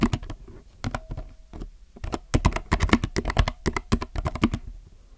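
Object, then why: Mechanical keyboard with plastic keycaps. Both hands type with their fingertips on a compact mechanical keyboard with plastic keycaps. Quick, uneven bursts of sharp clacks come in an irregular rhythm, each with a deep, muted thock underneath that dies away almost instantly. Some strokes land harder, but the typing stays dense throughout.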